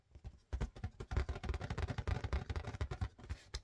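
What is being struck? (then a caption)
Inflated latex balloon. An inflated, hollow, air-filled blue-and-white marbled latex balloon, about head-sized and held in both hands, is tapped with long painted fingernails and fingertips. It gives a rapid, uneven series of soft, low, drum-like thuds with short, muffled decays.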